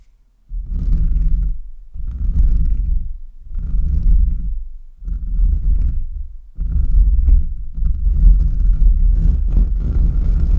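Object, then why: Metal mesh microphone grille. Short nails of both hands quickly scratch the sides and top of the bare, hollow metal mesh grille of a large USB microphone. The result is a dense, boomy, low rumbling scrape that comes in four separate bursts before running on continuously to the end.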